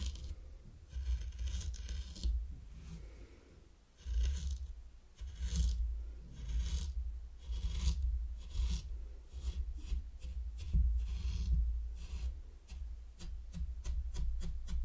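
A small wooden rake, held by a hand with red nails, is scraped in short strokes through fine purple sand in a heart-shaped wooden zen garden tray. Each stroke makes a soft, gritty rasp with a bright hiss, over a steady low rumble. The strokes come quickly and repeat for the whole clip.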